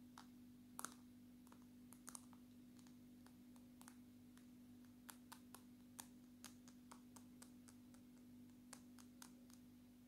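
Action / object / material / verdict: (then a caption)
tap / glass-backed smartphone / glass / none. Long natural nails tap on the glass back and camera module of a dark smartphone, making sharp, brief clicks with a bright edge. The taps come at an irregular pace over a steady low hum and die away almost instantly, keeping the sound quiet and dry.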